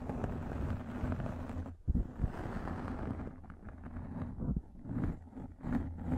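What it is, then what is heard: Microfiber pad scratched over the microphone. A pink fluffy microfiber makeup remover pad held over the mic is scratched with long nails. The result is a muffled, low, rumbling rustle with uneven swells and a few sharper bursts, and almost no bright high end.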